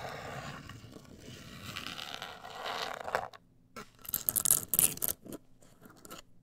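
Long acrylic nails scratch and tap a black printed, rigid, hollow cardboard cosmetic box of medium size. A steady dry scraping rasp runs for about three seconds, then gives way to quieter gaps broken by sharp, bright scratchy bursts and short taps.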